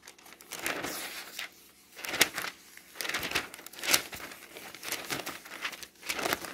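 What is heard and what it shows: A hand flips the pages of a glossy paper home goods catalog lying open and rubs them flat with the fingertips. The result is a bright, dry crinkling rustle in irregular bursts, with sharp crackly peaks and almost no low end.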